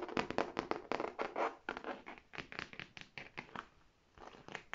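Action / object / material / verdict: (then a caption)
scrape / faux leather tote bag / faux leather / none. Long painted nails rapidly scratch and tap the front of a large, hollow red faux leather tote bag. The result is a quick run of dry, crinkly taps and scrapes, mostly in the mids with bright edges. Each one stops almost at once, and there is a brief quieter lull near the end.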